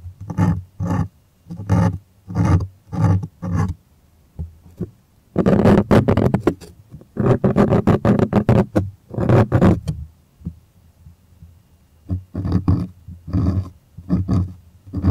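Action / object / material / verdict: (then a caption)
scrape / stretched cotton art canvas on a wooden frame / cotton canvas / none. Fingers scratch and rub a taut white stretched cotton art canvas on its wooden stretcher frame, close up. A run of short, evenly spaced scratching strokes gives way to longer, denser rubbing bursts with a low, hollow resonance. These are followed by pauses and a few quicker scratches at the end.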